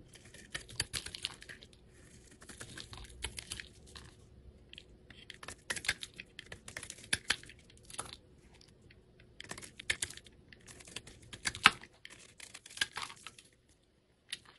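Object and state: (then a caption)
Translucent soap bar being shaved. A craft knife blade scrapes and shaves along the surface of a small, solid, translucent red soap bar held in the hand. Dry, bright, crisp scratching and crackling comes in short bursts with brief pauses and little low end. The cuts stop near the end, leaving a faint click.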